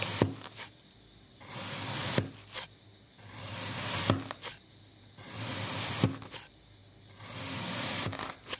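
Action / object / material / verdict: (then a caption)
scrape / packed kinetic sand disc cut with a thin metal blade / kinetic sand / none. A thin metal knife blade slices a solid pink kinetic sand disc resting on a white glossy surface into parallel strips. Four long, bright, hissing cutting and scraping strokes through the packed sand are heard, separated by quiet gaps and short sharp taps.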